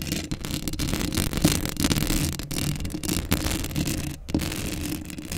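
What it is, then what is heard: Metal mesh microphone grille being scratched. Long acrylic nails scratch the hollow metal mesh grille of a black Blue Yeti microphone up close. The result is a steady, gritty scraping and rasping with a heavy low rumble underneath and brighter scratchy bursts, broken by brief pauses.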